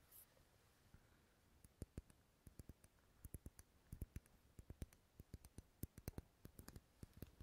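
A large, dark red, unlit solid wax pillar candle held in the hand near the microphone is tapped and scratched with long nails. After a brief soft rustle, a long, irregular run of quiet, dry, sharp clicking taps follows, some in quick clusters. Each tap stops almost instantly against a low, steady background hush.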